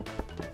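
A wall made of cow dung inside a Maasai home is tapped a few times to check it, giving short, dull, low thuds that die away almost at once with no ring. The wall sounds solid and sturdy.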